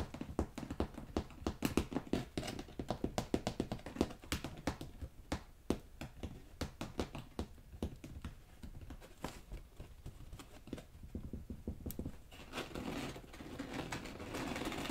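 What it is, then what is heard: Rolled shag carpet. Fingertips tap and scratch across the soft fiber pile of a rolled-up beige shag carpet lying on boxes. Rapid, muffled, dull taps with short decay fill most of the clip, then it shifts to a softer, continuous brushing scratch toward the end.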